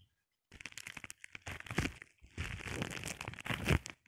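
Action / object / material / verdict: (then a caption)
scrape / sheet of plastic bubble wrap / plastic / none. Short painted nails of both hands scratch and tap across a flat sheet of clear plastic bubble wrap. After a half-second of silence, rapid crinkly taps and scratchy rustles come in dense bursts with brief pauses between them, dry and without ring.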